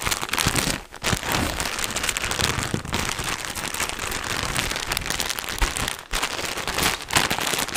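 A large, soft pack of cotton wool in a thin, crinkly plastic wrapper is held in front of a microphone and tapped, scratched and squeezed with gloved fingertips, then turned upright and back. The result is a dense, continuous crackling and crinkling of plastic, bright in the highs, with brief pauses near 1, 3, 6 and 7 seconds.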